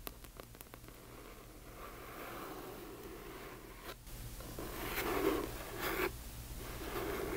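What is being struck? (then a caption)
Hardcover book cover. Long nails tap and scratch the front cover of a large hardcover book. Quick sharp taps at the start give way to soft, rustling scratches that grow louder toward the end, over a faint low hum.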